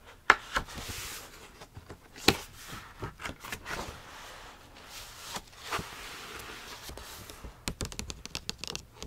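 A medium-sized paperback copy of "Where the Sidewalk Ends" is held open in the hands while fingertips turn and rub its paper pages. Soft, bright rustling and scraping runs throughout, broken by a few sharper crisp snaps of paper, with a quick flurry of light crinkles near the end.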